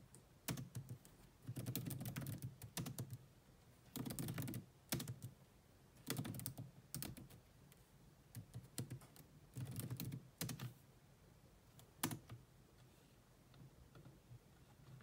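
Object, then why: Plastic laptop keyboard keys. Long manicured nails and fingertips rapidly tap the dark plastic chiclet keys of a grey laptop with a hollow body. The typing comes in quick bursts separated by short pauses, each tap a crisp, bright click over a hollow, low thud that stops almost instantly.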